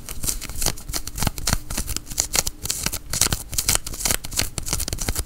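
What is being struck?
Cotton fleece sweatshirt sleeve.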